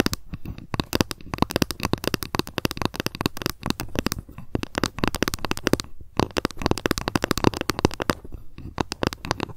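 Long nails tap and scratch quickly along the surface of a long, flat, solid bamboo ruler lying on a fluffy mat. Dense bursts of crisp, dry clicks and taps come in rapid clusters with brief pauses between them, each tap dying out almost instantly.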